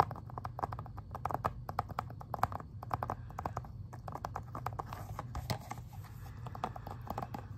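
Fingernails tap and scratch on the plastic Xbox 360 game case, first on the front and then on the back. Quick, dry, clicky taps with almost no ring sit over a steady low hum, and a brighter scratching hiss joins in during the second half.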